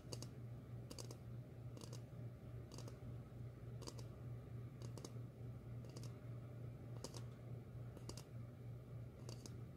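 A medium glossy red ceramic bowl, hollow and empty, is held upside down and tapped with long fingernails. Quiet, bright clicking taps come at an uneven pace over a steady low hum throughout.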